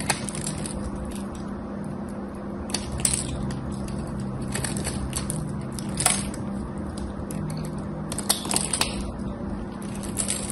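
A small utility knife blade scrapes and carves shavings off the edge of a hand-sized, solid, cream-colored soap bar held in one hand, with crumbled soap flakes on a pink surface and gold soap bars nearby. Steady, crumbly scraping runs throughout over a low, constant hum, broken by scattered sharp, bright crackles as flakes break away.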